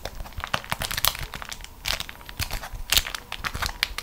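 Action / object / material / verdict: scrape / waxed cotton food wrap / waxed cotton / none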